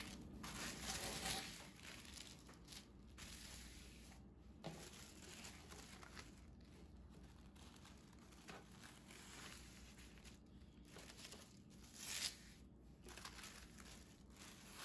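A thin sheet of white speckled tissue paper lying on a table is folded lengthwise and pressed flat by hands and fingertips with long nails. Soft, bright crinkling and crushing rustles run steadily as the paper is creased, over a faint low hum. A few louder crackles stand out near the start and again around the twelve-second mark.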